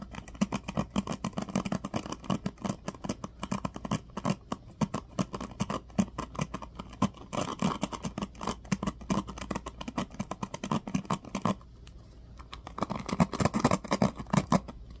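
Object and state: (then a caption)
Plastic paddle hairbrush, pins strummed. A small black plastic paddle hairbrush with teal-tipped plastic pins is held in one hand while the fingertips of the other hand repeatedly strum and scratch the pins. This makes a fast, steady run of crisp, short flicking ticks over a constant low hum. The flicking pauses briefly near the twelve-second mark, then resumes.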